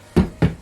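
Two dull, low knocks on a wooden saltwater pond frame that has just been screwed together with its floor, tapped to check for looseness or rattles. Each knock is a short, deep thud that dies away quickly with no rattle, and the frame is solid and not going anywhere.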